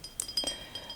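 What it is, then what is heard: Glass beer bottle. A 33 cl glass bottle of blonde Belgian beer is tapped, giving several light, bright glass clinks. Each tap has a high, thin ring that fades quickly.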